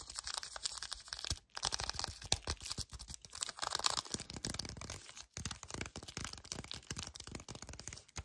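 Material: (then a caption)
Cardboard. Fingers with painted nails grip hard and scratch a small, full, yellow cardboard chocolate bar sleeve held in both hands. Dense, rapid, bright scratching and crinkling bursts continue throughout, with brief pauses near 1.4 and 5.3 seconds.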